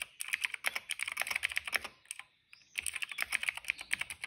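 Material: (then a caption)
Plastic. Fingertips type on a cream plastic mechanical keyboard, producing about thirty quick, bright, clacky keystrokes. A brief pause of silence around the middle marks the hands resting at the sides before the typing resumes.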